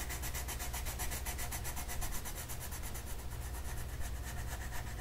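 A purple colored pencil makes repeated scratchy coloring strokes across a flat paper mandala coloring sheet. The strokes come as a steady, rhythmic rasp with bright, papery grain over a constant low rumble.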